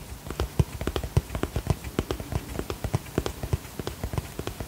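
A holographic vinyl zip cosmetic pouch is tapped with long fingernails in a steady run of about twenty quick, separate taps. Each tap is a short, dry, muffled thud that dies away almost at once, with little high-end sparkle.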